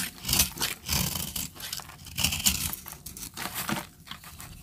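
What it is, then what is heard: Dry soap bar being cut. A metal blade scrapes and cuts into a palm-sized solid orange bar of dry soap, held in one hand with long red-painted nails, shaving flakes onto a blue surface. Bright, dry, crumbly scraping bursts with a gritty crinkle rise and fall in quick succession, with only a little low thump beneath them.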